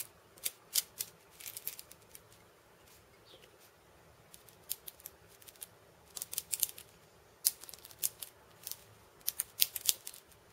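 A steel bead cabasa, with a wooden handle and steel bead chains around a hollow cylinder, is held in both hands and turned so the beads rattle over the drum. Quiet, scattered bursts of bright, high metallic rattling come in irregular clusters, each dying away almost instantly, with near-silence between them.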